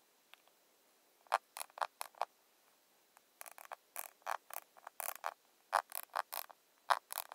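A rounded square, glossy plastic cushion foundation compact is held upright and tapped on its lid with long nails. About twenty short, dry, clicky taps come in uneven bursts and clusters with brief pauses between them. Each tap centers around 1 kHz with no low end and dies away almost instantly.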